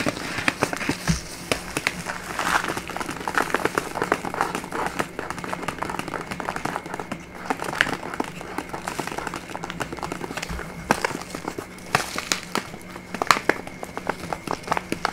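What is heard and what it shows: A small brown kraft paper bag with a paper label, held in both hands, is crinkled and scratched with long nails. The result is a steady, dense stream of crisp paper crinkles and short, sharp scratching crackles that stop quickly, bright in tone with little low end.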